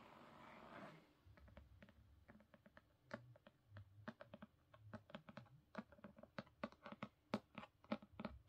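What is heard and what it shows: Long pink nails on both hands scratch and tap the top edge and cover of a solid black *Crooked Kingdom* hardcover with a gold-foil design, resting on a carpet. A soft, broad scratching rustle in the first second gives way to a long series of short, dry clicking taps that grow denser and slightly louder toward the end.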